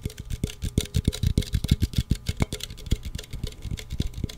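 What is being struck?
Aluminum drink can.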